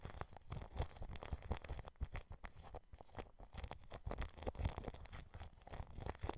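A paintbrush scratches and brushes from the side across clear plastic cling film wrapped over a microphone grille. The result is a steady stream of quiet, crinkly scratching and rustling with dense, short, dry strokes and a strong low, muffled thumping rumble underneath.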